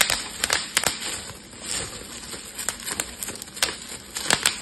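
A clear plastic bubble wrap sheet is pinched and twisted with fingertips, popping its bubbles in a series of sharp, bright snaps. Between the pops there is a soft, steady crinkling of the plastic, and each pop dies away almost instantly.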